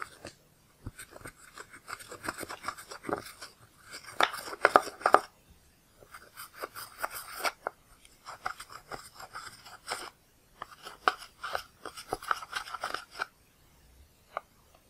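A flat pale spatula scrapes the purple powder out of the pans of a black plastic pressed eyeshadow palette, leaving crumbled powder. Quick, dry scratching and crunching strokes come in several bursts separated by brief pauses. They are brightest in the midrange around 1 kHz with a crisp, high edge.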